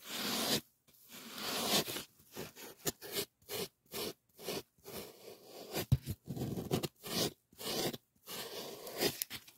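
A solid white polyethylene packing foam sheet is rubbed quickly with fingers, producing repeated short bursts of squeaky, zip-like friction with brief silences between strokes. Each stroke is broad and scratchy, with bright high-end hiss over a low squeak.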